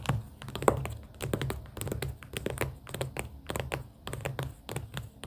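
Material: Cardboard.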